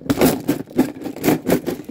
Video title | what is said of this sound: To The Walls , Ain't Find No Windows | It didn't sound like tools. It sounds plasticky to me.